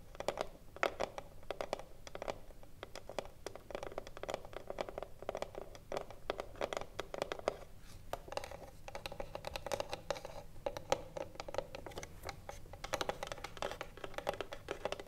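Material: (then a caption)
Wood. Long nails tap rapidly on the front and top edge of a hollow wooden cigarillo box standing upright. The result is a steady, quiet stream of quick, dry clicks with a hollow midrange body and almost no ring after each tap.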